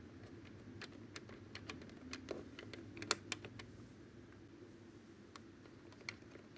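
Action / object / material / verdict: tap / plastic desk telephone keypad and handset / plastic / none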